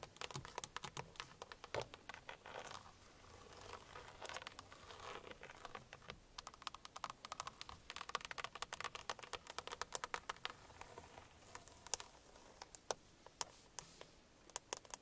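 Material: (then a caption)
Plastic. The hard, hollow plastic centre pad of a car steering wheel is tapped and scratched with long painted nails. Quick, sharp clicks come in dense bursts over a soft scratching rustle, with a bright, dry sound that has almost no ring or low end.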